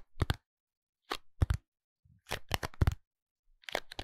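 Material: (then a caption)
Cardboard. A small pink printed cardboard box of Minon medicated soap, closed with the soap inside, is held in both hands and tapped and scratched with the fingertips and short nails. Short, dry taps with a dull low thump and crisp, papery scratching come in quick clusters separated by brief silences.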